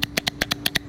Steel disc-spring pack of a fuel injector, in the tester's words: It must sound like this when you shake it up, even when it's new